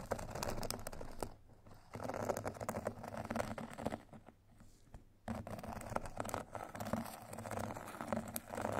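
Two thin metal sticks scratch and tap across the white fine-grit side of a rectangular foot file with a foam core, making dense, dry, gritty scraping with quick short taps. The rasping runs in bursts, broken by two brief quiet pauses.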